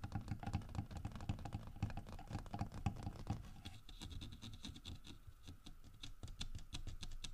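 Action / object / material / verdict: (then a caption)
tap / carved wooden bear figurine / wood / none. Fingernails tap and scratch along the grooved, carved back of a large, solid carved wood bear figurine. Quick, dull, low knocks patter rapidly for the first half, then give way to lighter, brighter scratchy ticks that continue to the end.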